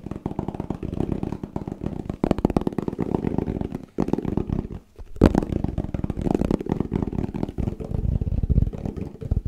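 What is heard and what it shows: A plastic Tupperware food container is tapped fast and continuously with dull, hollow knocks that die away almost instantly. The tapping has a low, thumpy body and brief pauses around the four- and five-second marks before it picks up again.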